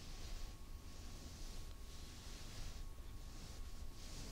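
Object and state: Nothing is struck.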